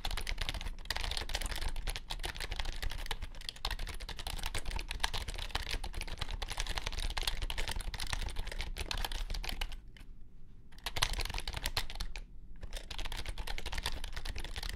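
Fingertips type rapidly on a compact white plastic wireless keyboard with low-profile keys, producing a dense stream of light, bright clicks over a steady low hum. Brief pauses in the typing come around the tenth and twelfth seconds before the quick tapping resumes.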